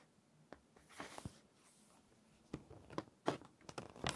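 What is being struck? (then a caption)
Glossy paper magazine pages. Long painted nails and fingertips smooth, rub and turn the thin pages of a large glossy fashion magazine lying open and flat. Soft, airy paper rustles and brushing swishes are punctuated by several brief, crisp crinkles and snaps as pages are handled and turned. The clip ends in a brighter, louder crinkling flurry.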